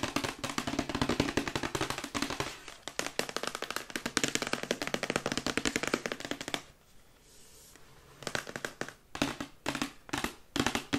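A glossy printed cardboard Yeti microphone box, held upright, is tapped rapidly with long white acrylic nails. The sound is dense runs of short, bright, clicky taps with a hollow papery body, broken by a brief near-silent pause before the fast tapping resumes in quicker bursts.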